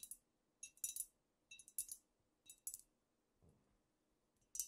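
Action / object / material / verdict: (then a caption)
tap / amber glass bottle / glass / none. Long nails scratch and tap a squat amber glass cognac bottle with a paper label, held in both hands. Quiet, bright clicks and crisp scratchy bursts come in short clusters with near silence between them. Each tap dies away almost at once, with almost no low end.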